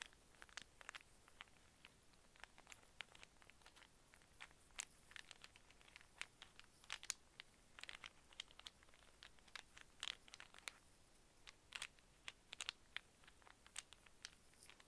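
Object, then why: Small wooden cube snake puzzle. A small solid wooden brown-and-white cube snake puzzle is held close and tapped with fingernails while its pieces are twisted with fingertips. Quiet, bright, sharp clicks and ticks come in irregular bursts over about 15 seconds, with faint crinkly scraping between them. Each tap is dry and dies out instantly, with almost no low end.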